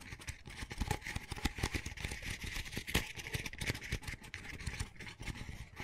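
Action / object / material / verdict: scrape / double-wall paper coffee cup / paper / none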